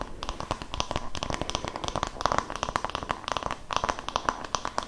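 An oval wooden massage brush with a cream strap is turned in both hands while its solid wooden back is tapped with long nails and fingertips. Rapid, dry, short clicks and taps follow one another with almost no ring, carrying a faint hollow tone around 1.1 kHz over soft handling noise.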